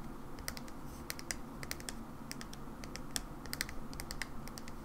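A hollow mauve plastic hair cream bottle, held in the hands, is tapped on its side with long nails. The result is a steady run of quick, light, bright clicks that die away almost instantly, over a constant low background rumble.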